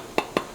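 Two quick taps on the metal lid of a glass canning jar give short, bright pings with a clear tone around 420 Hz that fade almost at once. The ping marks the lid as sealed.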